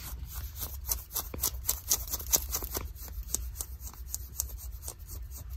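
Long nails scratch along the fabric and seam of light blue denim jeans with a frayed hem at the ankle. Quick, irregular, bright rasping strokes follow one another closely over a steady low rumble.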